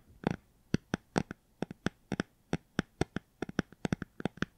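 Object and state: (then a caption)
Hardcover book. A hardcover book is tapped and scratched in a quick, uneven series of short, dry taps. Each tap stops almost instantly, and the clip stays quiet overall.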